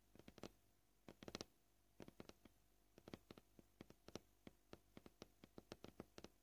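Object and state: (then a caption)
Plastic cutting board. Painted nails tap the surface of a white plastic cutting board, gentle and at a varying pace, some taps bunched into quick clusters and others spaced out. About 28 short, dry clicks are heard, each broadband and bright with no ring, over a quiet, low background hum.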